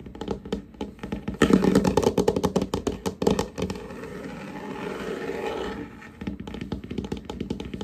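Short nails and fingertips from both hands tap and scratch across a large, solid, glossy varnished wooden tabletop. Quick, irregular dull taps build into a louder, dense flurry of tapping and scurrying, then give way to a steady, even scratching rub. Light scattered taps return at the end.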